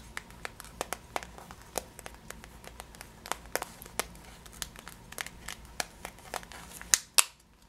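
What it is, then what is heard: Plastic bag of sugared almonds. Long nails scratch and tap a clear plastic bag of yellow sugared almonds, working over the plastic and its label. The result is a quiet, irregular run of sharp, bright crinkles and clicks over a faint hiss, ending with two louder crackles.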